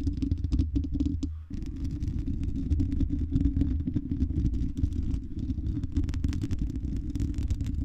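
Long red nails scratch the hollow silver mesh metal dome grille of a condenser microphone. The result is a dense, continuous low rumbling scrape with rapid gritty texture, briefly dropping away at about a second and a half before resuming steadily.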